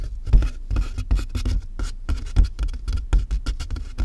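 Both hands tap quickly on the sides of a large hollow cardboard box with fingertips and nails. The result is a fast, uneven stream of dull, deep thumps that die away almost at once, with faint bright clicks from the nails riding on top.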